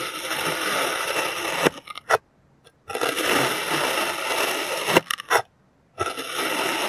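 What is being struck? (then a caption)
Moulded kinetic sand cut with a plastic knife. A clear plastic serrated knife slices a molded solid green kinetic sand shape into thin layers. Each cut is a long, grainy, bright scraping hiss with little low end, separated by short gaps broken by brief crisp ticks. Two full slicing passes are heard, and a third begins at the end.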